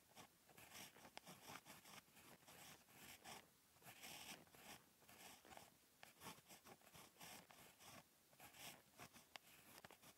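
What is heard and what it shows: Handwriting with a ballpoint pen tip held in the fingertips on a lined paper page of a spiral notebook lying flat and solid on a desk. Continuous bright scratching strokes rise and fall in short bursts with brief pauses, quiet and close, with little low end.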